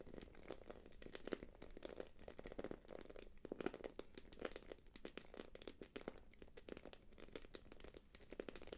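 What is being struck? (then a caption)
Quilted plastic purse. Long nails tap and scratch across the quilted face of a small, light-blue, glossy quilted plastic purse held upright. The result is a quiet, steady stream of quick crinkly taps and scrapes, with a soft mid-range body and a little bright edge, and each tap dies away almost instantly.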